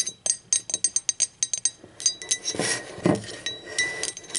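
Long acrylic nails tap the wall and rim of an empty, hollow speckled teal ceramic mug as it is turned in different positions. A quick run of bright, short clinks with a brief ring gives way to denser, overlapping taps and a rubbing, shifting sound as the mug is moved.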